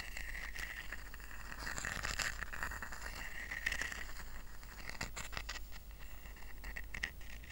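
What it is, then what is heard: Woven rattan coaster. Fingertips tap and short nails scratch a small, round, flat woven rattan coaster resting on a blanket. The result is a steady, dense stream of dry scratching and soft tapping with a bright, raspy band near 1.9 kHz, set over a constant low hum.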